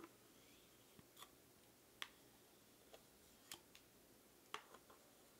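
Two bamboo sticks make sharp, dry, tick-like clicks at an uneven pace. Each click is bright and very short with almost no ring, and a few softer taps fall between the louder ones over a quiet background.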